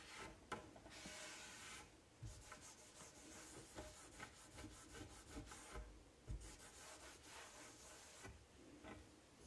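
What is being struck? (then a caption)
Laminate cabinet door. A cloth rubs across a flat-panel dark wood-grain laminate cabinet door near its bottom edge, making soft, steady swishing strokes with a bright hiss. Two brief, louder bumps stand out from the quiet rubbing.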